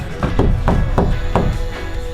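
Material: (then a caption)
Steel. Five knocks on a steel Sprinter van wall panel lined with sound-deadening mat, done as a knock test after finishing the sound deadening. Each knock is a short, dull, low thud that dies almost at once rather than ringing, over steady background music. The panel is judged to sound very good, damped rather than tinny.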